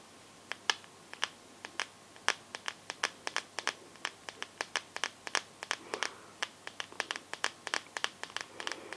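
Long nails tap the glass back of a teal Samsung phone with a metal frame. The result is an irregular string of dozens of short, sharp, bright clicks with almost no ring and no low end, over a quiet hiss.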